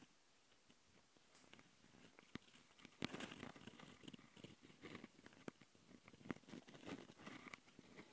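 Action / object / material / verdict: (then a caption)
scrape / Metal mesh microphone grilles on a plastic handheld recorder / metal mesh / none. Fingertips and long nails scratch and rub the metal mesh grille microphone capsules on the plastic body of a small black Tascam handheld recorder. Close, crackly scratching and rustling is broken by sharp clicks and taps. It starts quiet and sparse, then grows denser and louder from about three seconds on.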